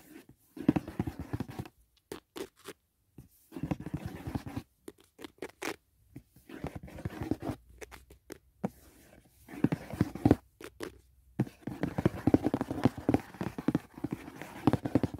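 Fingertips and nails tap rapidly on the surface and edge of a closed, hollow white rigid cardboard gift box lid resting on bedding. The clusters of quick, dry taps have a hollow, low-mid tone and come in bursts separated by brief silences. Each tap dies away almost instantly.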